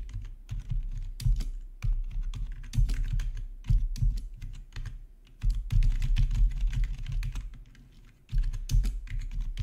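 Fingertips of both hands type on the keys of a black plastic membrane gaming keyboard with RGB backlight. The presses come in quick, uneven bursts of soft, low thumps with brief bright clicks, easing off into short lulls around the middle and near the end before the typing picks up again.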